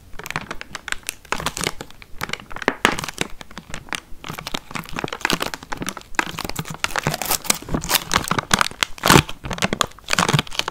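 A small clear plastic tray full of red watermelon pieces, sealed with a film lid, is held in the hands and tapped and scratched on its sides and lid with long nails. Dense, rapid crinkling and crackling clicks run throughout, with bright, dry textures and brief louder taps that stop almost instantly.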